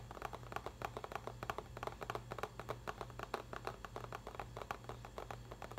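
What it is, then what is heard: Cardboard box tapped with fingertips and nails. Fingertips and nails tap and scratch the front face of a medium printed cardboard box of Japanese mochi, likely full, held upright in both hands. The result is a quick, steady stream of short, dry, papery taps in the midrange, with light scratching between them. A faint low hum runs underneath the whole time.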